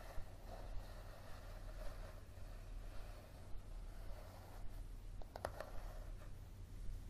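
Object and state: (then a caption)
Paperback book. Fingernails tap and scratch the coated cover of a yellow softcover paperback book lying flat on a table. Soft, quiet scraping strokes come with a few sharper, clicky taps, over a steady low hum.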